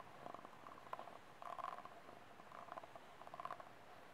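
Fingernails scratch across the ribs of a small, empty, hollow, ribbed white disposable plastic cup and tap its wall. The result is quiet, papery scratching bursts and light, short ticks with a hollow midrange tone near 1 kHz. They come in loose clusters over a soft background hiss.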